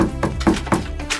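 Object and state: Well-damped steel van wheel arch.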